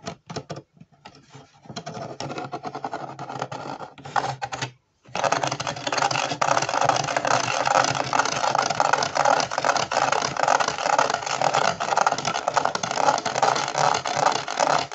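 Fingertips and nails scratch along the ridges and rim of the white ridged sole of a hollow plastic jigsaw-puzzle Converse-style shoe, a Ravensburger 3D puzzle. Quieter, broken scratching with short gaps runs for the first few seconds, then stops briefly near the five-second mark. Dense, continuous rapid rasping follows to the end, with a bright papery texture centred in the mid range.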